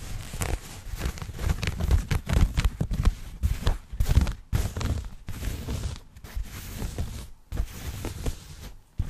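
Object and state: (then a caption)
Denim fabric. Fingertips and nails scratch and rub a soft, flexible dark blue denim garment held up in front of a microphone. Irregular bursts of low, muffled rubbing mix with brief bright, scratchy textures as the cloth is worked, with short pauses between strokes.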